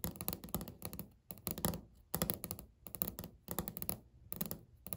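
Natural fingernails tap and knock close-up on a flat, solid, speckled beige laminate countertop. Quick clusters of clicky nail taps and dull knocks come in bursts separated by short pauses. Each hit has a low, thuddy body with bright clicks on top and dies away almost instantly.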